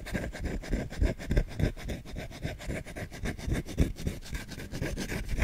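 The bowl of a solid wooden spoon is scratched rapidly with short nails and fingertips. The result is a dense, rough, dry scratching texture that is mostly low and dull, with quick, irregular strokes of uneven loudness throughout.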